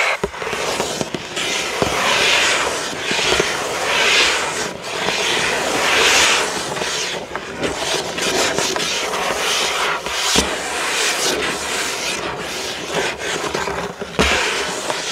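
Fingertips of both hands scratch and tap the back side of a printed cardboard building-block box lying flat. A steady, bright, papery scratching rises and falls in waves, broken by occasional sharp, dry taps.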